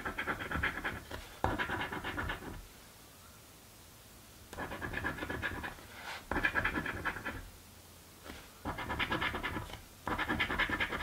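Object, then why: Thin card scratch-off ticket scraped with a coin. A coin held between the fingers scratches fast at the latex coating of a thin card crossword scratch-off lottery ticket lying flat on a table. About six bursts of dry, rapid rasping, bright with a midrange edge near 1.6 kHz, come with short quiet pauses between them.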